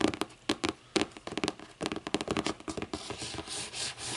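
Long painted nails tap and scratch the front of a closed, thick hardcover book with a lime-green board cover lying flat on a wooden table. Quick, dry, irregular taps come first. They give way to a steady, bright scratching rasp toward the end.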